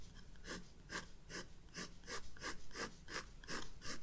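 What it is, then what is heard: Pencil hatching on a sketchbook page. A graphite pencil draws short hatching strokes on the white paper of a spiral-bound sketchbook resting on a desk. It makes a steady series of quick, dry, bright scratching strokes, roughly two or three per second, over a faint low background hum.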